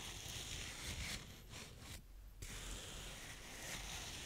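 A blue plastic spade scrapes and rubs across the surface of brown kinetic sand, heard close up. The result is a steady, soft, gritty hiss with a bright, airy top and a low rumble underneath, easing briefly into a quieter stretch around the two-second mark before the scraping resumes.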